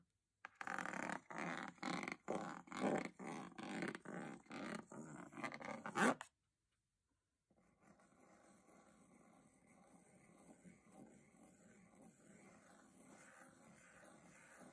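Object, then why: Textured aluminium lid of a metal box. A small flat brush scrapes the diamond-textured aluminium lid of a hollow metal box in a quick run of short, rasping strokes with a bright, hissy edge. After about a second of silence, lighter and steadier brushing follows, a soft continuous swish over the textured metal.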